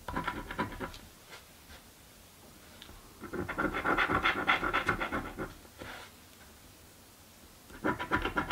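A small coin held in the fingertips scratches the latex coating off a flat, thin "Mystic Riches" scratch lottery ticket lying on a dark table, held down by the other hand. Rapid, rhythmic, papery scratching strokes come in bursts, quick strokes at the start, a longer, louder run in the middle, and another flurry at the end, separated by near-silent pauses.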